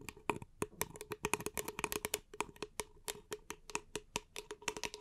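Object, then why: Small paper cup. A small, empty, hollow paper cup is held upside down in both hands and tapped and scratched with long painted nails. A rapid, irregular run of crisp, bright clicks with a hollow mid-pitched ring, each dying out almost instantly, is interspersed with soft scratching. The overall level is quiet.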